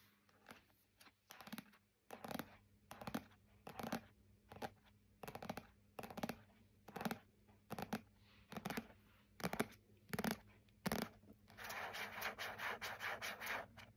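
Fingertips and nails tap and scratch the glossy red card front cover of the paperback novel "Wool," a solid block of paper held in the hands. Soft, papery taps and brief scratches come in an uneven series, ending with a few seconds of continuous, hissy scratching across the cover. The sound stays quiet and close throughout.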